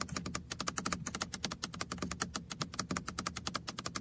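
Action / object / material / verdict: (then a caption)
tap / small plastic toy car-shaped computer mouse / plastic / none. A small, red, hollow plastic computer mouse shaped like a toy car is held on a lap while fingertips and nails tap its roof and sides. About 32 quick, light, clicky taps come in a steady, rapid run, each bright and hollow-sounding and dying away almost at once.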